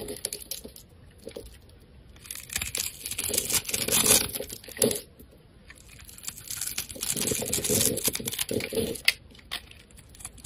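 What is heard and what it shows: A snap-off metal blade scrapes the surface of a solid oval lime-green soap bar held in the hand, shaving it into curls. Dry, crisp, bright scraping and crinkling comes in uneven bursts of strokes, swelling and fading with short quiet gaps between them.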